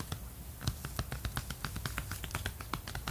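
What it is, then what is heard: Cardboard record sleeve. Fingertips and nails tap rapidly on the face of a glossy 12-inch cardboard LP jacket with a red border, which is flat and hollow. A quick run of short, dry clicks and taps, some brighter than others, dies away almost instantly over a steady low background hum.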